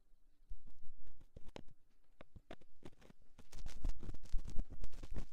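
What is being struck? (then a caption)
Silicone microphone ear scraped with a metal ear-pick. A thin metal ear-pick held in the fingers scratches slowly inside the canal of a soft silicone ear on a round white binaural microphone housing. It makes low, muffled rubbing and scraping with soft irregular thumps and patters, sparse at first, then growing denser and louder through the second half.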